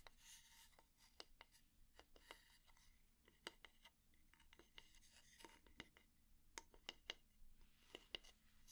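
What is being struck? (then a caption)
Wooden kitchen spatula. The flat head of a solid, light wooden kitchen spatula is tapped and scratched with long nails. Quiet, sharp, dry clicks stand out from soft, bright, rasping scratches, and each tap stops at once without any ring.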